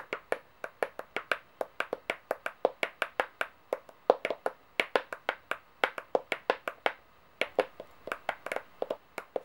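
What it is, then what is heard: Metal coins tapped with fingernails. Long painted fingernails rapidly tap and click large, gold-toned, brass-colored solid metal coins, some stacked, resting on a white board. Around forty sharp, dry clicks with a midrange body and bright tops come in quick, uneven bursts with a couple of brief pauses. Each click cuts off almost instantly, with no ring.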